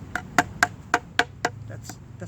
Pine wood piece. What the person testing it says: that's hollow there's nothing there